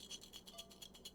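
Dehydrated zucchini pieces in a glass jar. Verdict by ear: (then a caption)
Dry. A glass jar holding very hard dehydrated zucchini and yellow squash pieces is shaken. The pieces give a bright, rattling clink against the glass in a quick series of shakes.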